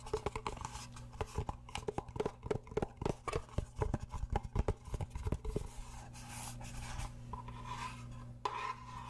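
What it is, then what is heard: Cardboard gift box tapped and scratched with nails. A small, hollow, rigid pink cardboard gift box is held in one hand while long painted nails tap and scratch its sides. Quick, dry, hollow taps with no ring fill the first half over a steady low hum. After that, the tapping gives way to softer scratching and rubbing across the cardboard.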